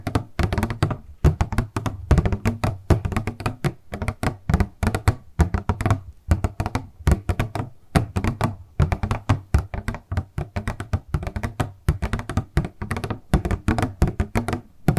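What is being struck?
Clear plastic cosmetic box.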